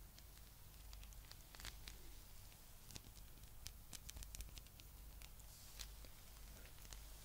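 A palm-sized blue spiky rubber massage ball is held in both hands and scratched with long nails over its spikes. Quiet, crisp scratching and light clicking ticks flicker through bright, papery rustling, over a steady low hum.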